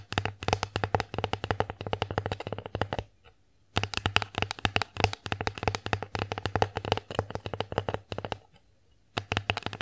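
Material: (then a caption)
Wood. Long acrylic nails tap rapidly across the surface of an empty wooden bear-face plate held upright. The clip is quick bursts of dry, clicky taps with a bright edge and a faint low hum underneath, broken by two short pauses.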